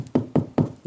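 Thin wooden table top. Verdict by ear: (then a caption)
Hollow. Knuckle-free description: three clear taps on the top of an old, very thin painting table meant to serve as a base give short, dull, hollow knocks with low-mid body around 250 Hz and little ring. The top sounds hollow even though the ground underneath is solid, so it needs reinforcing or removing because it will carry a lot of weight.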